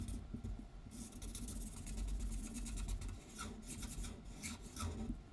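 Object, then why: Paper sheet on a wooden table, rubbed with a felt-tip marker. A felt-tip marker colors in an outlined letter R on a white paper sheet lying flat on a wooden table, while the other hand holds the sheet in place. Repeated rubbing strokes make a soft, steady scratchy rasp with bright streaks over a low background rumble, swelling and easing as the strokes continue.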